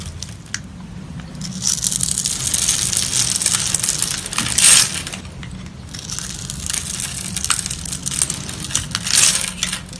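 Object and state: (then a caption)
Soap bar being cut and crumbled. A solid cream-colored soap bar held in the hand is scored with a box-cutter blade, then small soap cubes are sliced and crumbled off. Bright, dry scraping and crunching run throughout in dense crackly bursts, swelling louder around the middle and again near the end, with a faint low hum underneath.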